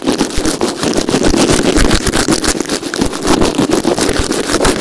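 A small white plastic earphone inline remote, taped down with clear plastic tape on a white surface, is scrubbed back and forth with the bristles of a blue plastic nail brush held in the fingers. It makes a dense, continuous scratchy rustle with a steady, fairly loud level and a slight low-mid emphasis.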